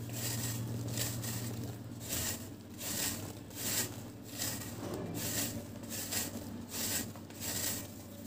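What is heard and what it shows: A round, flat, solid dry cement cake held in one hand is scraped and shaved with a metal utility knife blade, and powder falls off. About six dry, gritty scraping strokes come in an uneven rhythm, each a bright, rasping burst over a low steady hum.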